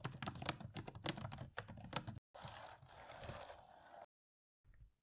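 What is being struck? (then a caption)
Plastic laptop keyboard keys. Both hands type on a dark plastic laptop keyboard, tapping the keys with fingertips and long nails in a quick, irregular run of sharp, bright clicks. After a short break, a steadier bright, hissing clatter continues for nearly two seconds, then stops, leaving silence and one faint low thump at the end.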